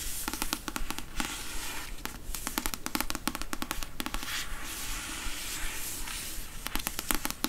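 Long nails tap rapidly on the card cover and paper page edges of a thick paperback novel, The Beach, held upright. The dense, irregular clicking has sharp, short-lived taps with a bright, crackly edge over a low, muffled body. Bursts of quick taps come in clusters, with brief softer gaps of scratchy brushing between them.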